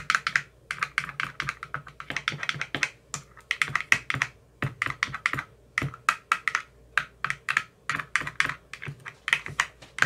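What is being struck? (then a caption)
Plastic ice cube tray with silicone cells. A white-tipped metal rod taps rapidly into the green silicone cells of an empty clear plastic ice cube tray. The taps are short, dry and clicky, with a bright, high-leaning tone and almost no low end. They come in quick, irregular bursts, like fast typing on a keyboard.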